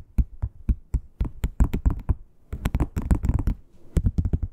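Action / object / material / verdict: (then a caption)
tap / textured leather wallet / leather / none. Long pointed nails tap and knock on the surface of a flat red crocodile-textured, croc-embossed leather wallet. The result is an irregular run of quick, dull, low thuds that die out almost instantly, some landing singly and others in tight clusters.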